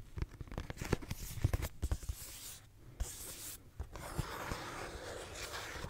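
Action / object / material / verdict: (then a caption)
scrape / cardboard tissue box / cardboard / none. Fingernails scratch a pink cardboard tissue box with a cloud print, a hollow cube held in one hand. Quick dry scratches and hollow, low taps come in a busy cluster, then ease off. A steadier, brighter rasp follows, with a few soft knocks.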